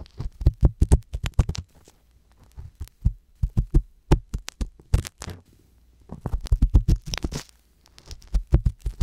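A wooden-handled metal ear pick scrapes and scratches inside the ear canal of a soft silicone ear on a hollow white binaural microphone body, working at the black capsule. The sound is a run of rapid, deep, muffled thumps and rubbing scrapes that come in bursts separated by short quiet gaps, almost all of it low and boomy with very little brightness.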